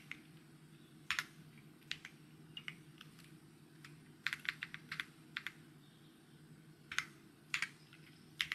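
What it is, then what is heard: Plastic mechanical keyboard. Fingertips type on a white mechanical keyboard with plastic keycaps, producing short, bright tapping clicks in irregular bursts. Each tap dies away almost at once over a steady low hum in the background.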